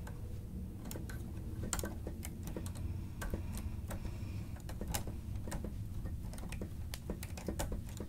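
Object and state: Plastic stenotype keyboard being typed.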